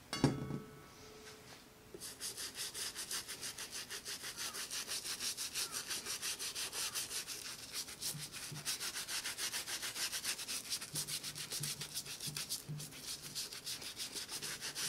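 A white plastic toothbrush scrubs back and forth along the welt edge and rubber sole of a brown leather J Crew penny loafer, hollow and empty and held in one hand. After a brief knock and a short pause, rapid, fairly steady strokes produce a bright, bristly hiss for the rest of the clip.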